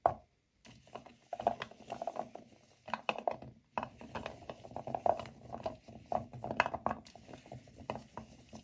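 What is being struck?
Natural cork wine stoppers in a bowl.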